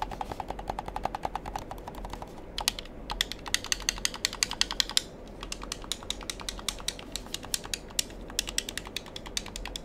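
Fingertips rapidly click and press the buttons and triggers of a black handheld plastic gamepad with a hollow shell. Dense streams of short, sharp, bright plastic clicks come with very little ring, over a steady low background hum. The clicking briefly thins out near the middle before resuming.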